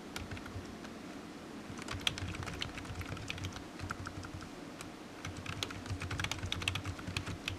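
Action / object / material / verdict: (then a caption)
tap / plastic computer keyboard / plastic / none. A low-profile black plastic computer keyboard resting on a desk mat is typed on with the fingertips, its hollow keys tapping out a steady run of quick, bright clicks. Each tap dies away almost instantly over a soft low rumble, with a few louder keystrokes standing out near the middle and end.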